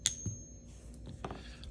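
A suspected counterfeit silver coin is given a ping test, producing a few short, high-pitched taps that die away almost at once, with a faint steady whine in the background. The coin is counterfeit: it lacks the long ring of genuine silver.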